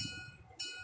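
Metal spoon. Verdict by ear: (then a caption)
Ringing. A metal spoon is struck and rings with a bright, bell-like tone around 3 kHz with steady high overtones, fading and then swelling again before the clip ends. The clear ringing shows the spoon is made of metal, a property called sonority.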